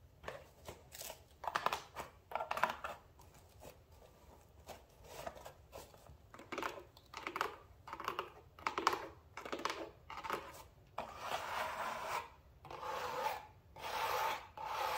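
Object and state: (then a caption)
Cardboard shipping box being scratched. Long nails scratch and rub the inner walls and flaps of an open, medium-sized brown cardboard shipping box that is hollow and mostly empty. Short, dry scraping bursts come in an uneven rhythm. Toward the end they stretch into longer, steadier rubbing strokes with a bright, papery rasp.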